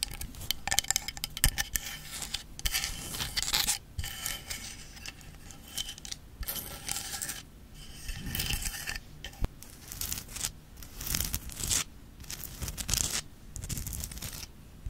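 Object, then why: Rock salt lamp. Long nails tap and scratch the rock-salt surface and underside of a Himalayan salt lamp, a solid crystal on a small base that is tilted and held upright. Dry, bright, gritty scraping comes in bursts with sharp little clicks, separated by short quiet pauses. Each tap stops dead with no ring.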